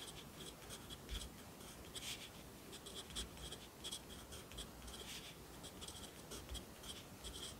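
A yellow wooden graphite pencil writes on an open lined paper notebook on a desk, with one hand holding the page flat while the other writes. The pencil tip makes a continuous, quiet scratching against the paper, with brighter bursts on each stroke over faint low thumps.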